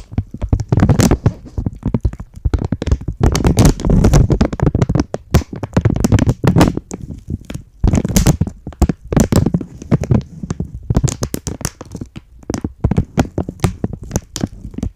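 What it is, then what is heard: Plastic packaging bag. A thin, empty, flexible green and white printed plastic packaging bag is held in both hands, crinkled and scratched with long polished nails. Dense bursts of sharp crackling and scratchy rustling come in quick clusters, separated by brief pauses, heard close up throughout.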